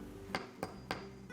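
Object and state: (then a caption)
Hollow concrete driveway slab. A hammer strikes a sunken concrete driveway slab outside a garage, giving sharp, short taps with a hollow ring around 750 Hz over a low hum. The slab sounds hollow compared with the garage floor, pointing to voids beneath the sunken concrete that can only be measured by drilling.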